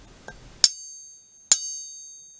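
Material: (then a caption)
Steel. The steel blade of a gaucho-style knife is struck or flicked twice, each hit giving a sharp metallic ping. A bright, high ringing tone follows each ping and slowly fades. The blade has a nice, clear ring.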